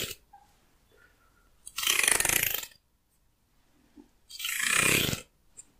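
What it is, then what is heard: Wooden comb. A light-colored, hand-sized solid wooden hair comb is held in one hand while fingernails pluck and scratch along its teeth. Two long, bright, raspy scratching passes, each lasting about a second, stand out against near silence, with faint small ticks in between.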